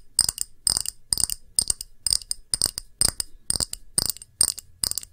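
Long nails tap a round, thick, clear pressed-glass shallow dish with a patterned rim, held upright. The taps come in quick, evenly spaced bursts of bright, high clicks with a faint glassy tinkle that dies away almost instantly.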